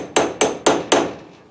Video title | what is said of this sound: Mustang door Hinges rebuild. Brooklyn Pony part 37 | bottomed it out and it sounds solid